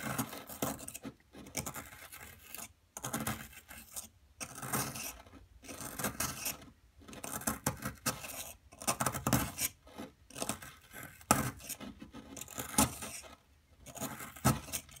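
A metal pick tool repeatedly pokes and scrapes into the surface of a solid, fist-sized blue plaster dig block held steady by a hand with long nails. Gritty, rasping scratches come in short bursts with brief pauses between them, spreading from a low body up into bright, crumbly detail.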